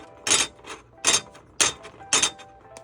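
A 3D-printed part made of carbon-fiber-filled PPS is tapped repeatedly, giving four bright, sharp clinks with softer follow-up taps. Each strike has a glassy, metallic ring that is high-pitched and dies away quickly. The clean ring is a good sign for this print.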